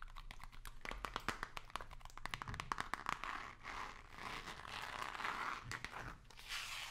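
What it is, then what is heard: Cardboard box tapped and scratched. Long nails tap and scratch a hollow, long, narrow white cardboard box with small print, held vertically. The first half is quick, dry, papery taps; the second half turns into a steady, bright, crinkly scratching. A faint low hum runs underneath throughout.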